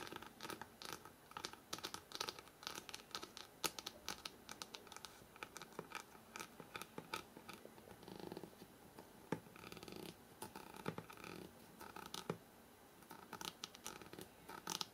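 Fingernails scratch quickly along the stacked paper page edges of a thick hardcover book held horizontally. Dense bursts of dry, bright scratching and ticking come in rapid, uneven runs with short pauses, and each stroke stops almost instantly. A few louder scrapes stand out, with a softer, fuller rustle in the middle.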